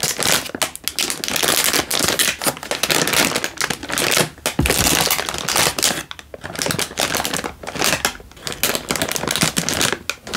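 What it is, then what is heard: Instant noodle packet in plastic wrapper. A single full Indomie instant noodle packet in a crinkly plastic wrapper is held in one hand and crinkled with the fingertips. Dense, bright, crackling plastic crinkles run almost continuously, with a few brief lulls in between.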